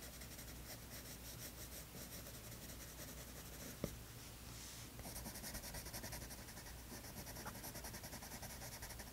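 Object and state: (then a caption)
Colored pencil drawing on a sketchbook page. A light green wooden colored pencil scratches short strokes onto a page of a spiral-bound, toned tan paper sketchbook lying flat, while the other hand rests still on the page. The result is a quiet, steady, dry scratching with a low hum underneath and one sharp tick partway through. After that, the strokes turn a little louder and brighter.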